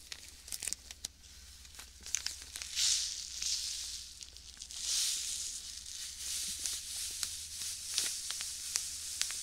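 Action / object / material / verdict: shake / small plastic bag filled with sand / plastic, sand / none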